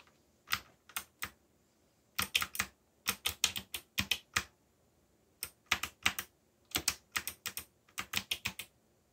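Fingertips type on a backlit mechanical keyboard with black plastic keycaps and a yellow backlight. About thirty crisp, bright clicks come in quick bursts separated by short pauses. Each click is sharp and dies away almost instantly, with almost no low-end body.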